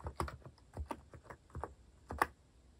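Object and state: Plastic mechanical keyboard being typed on.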